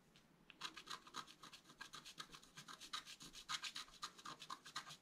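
A wooden stylus scratches and rubs across the coating of a flat black-coated scratch art paper card. After a brief quiet start, a rapid, slightly uneven series of short, dry, bright scraping strokes follows at roughly four per second. The strokes are soft and hissy with almost no low end and stop almost instantly.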